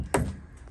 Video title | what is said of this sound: Garage to ADU; Underground Plumbing Show & Tell. | he'll tap on the pipe and you can hear that it's filled with water